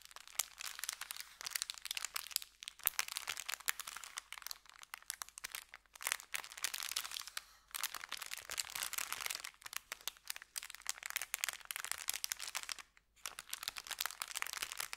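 An empty, thin brown kraft paper bakery bag lying flat on dark felt is pressed and scrunched by both hands with fingertips and short nails, crinkling and rubbing it. Dense, bright, papery crackles and crunches come in continuous bursts, with brief pauses near 2.5, 6, 7.7 and 13 seconds.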